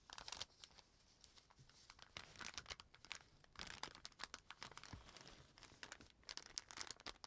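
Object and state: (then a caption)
Paper bag crinkling. A flattened, empty brown kraft paper bag with a dark stripe is held and folded by fingertips with pink-painted nails. It gives quiet, bright crinkling and rubbing, with sharp crackles scattered through the clip and soft rustling in between.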